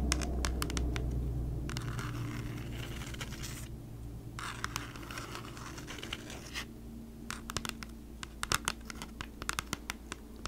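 A flat, hand-sized, thin and hollow cardboard Bee's Wrap food-wrap package, unwrapped, is held in both hands and scratched and tapped with long acrylic nails. Long, dry, bright scratching bursts alternate with sharp, clicky nail taps that become more frequent toward the end, over a low steady hum.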